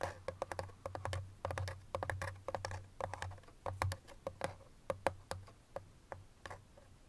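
Long fingernails tap rapidly on the flat face of a small, hollow white paperboard box, giving a quick, uneven run of dry clicky taps with a hollow mid-toned knock. Each tap dies away almost at once, over a faint low hum, and the taps grow slightly softer toward the end.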